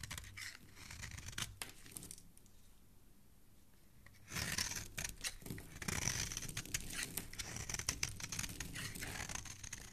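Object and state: Bar of soap being shaved.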